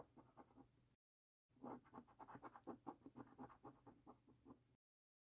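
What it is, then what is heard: Scratch card being scratched with a coin. A coin scratches across a thin, flat paper lottery scratch card with a latex coating resting on a wooden table. It makes quiet, rhythmic rasping strokes: a short burst, a brief silent pause, then a longer run of quick back-and-forth scratches with a dry, papery texture.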